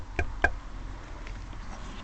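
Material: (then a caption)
Steel. A steel two-stroke exhaust pipe from a Yamaha TZR motorcycle, being decarbonized by heating, is tapped a few times, giving short, bright metallic clinks with a brief ring around 1.6 kHz over low background rumble. The pipe sounds hollow, which likely means the inside is clear, though that is not confirmed.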